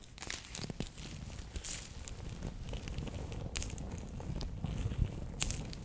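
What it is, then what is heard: Plastic gel pack of water beads. A palm-sized, bear-shaped clear plastic pouch, sealed and full of orange water beads, is held in both hands and tapped and scratched across its surface with long painted nails. The result is a steady run of crinkly plastic clicks and bright scratches over a soft, low squishy rumble from the beads inside.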